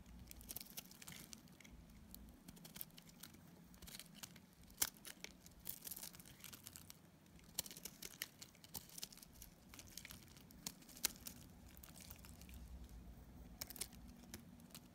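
An orange and pink solid soap bar, held in the hand, is scraped with a multi-blade cutter, producing crumbly shavings. Quiet, bright scratchy crackles and crumbling patter run throughout, with irregular sharper clicks standing out over a low steady hum.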